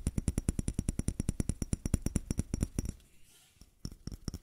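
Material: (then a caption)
Plastic. Fingertips and nails tap quickly on the body of a small, matte white plastic bottle with a square cap that looks empty. Roughly 29 short, dry taps land in a fast run, each a dull low thud with a bright clicky top and no ring. A brief quiet gap follows before a few more taps close the clip.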